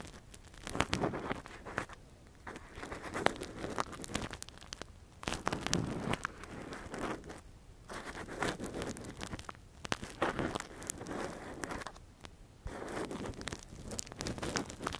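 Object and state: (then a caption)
Silicone ear microphone. A gloved hand scratches and probes inside the hollow ear canal of a soft, translucent, hand-sized silicone ear microphone cover with a thin metal earpick. Close, crackling rustles and crinkly scrapes come in bursts with brief pauses between them.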